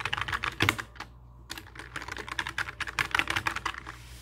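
Fingertips type rapidly on a full-size black mechanical keyboard with plastic keycaps and a hollow case, resting on a wooden desk. Quick bright clacks come in dense bursts, with a brief pause about a second in before the typing resumes. Each keystroke dies away almost instantly.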